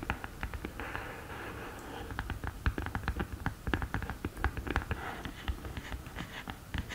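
Long nails tap rapidly on the top of the open lid of a black cardboard eyeshadow palette. The result is a quick, irregular run of short, dull taps with very little ring, mostly low and muffled with light clicky edges, over a faint steady hiss.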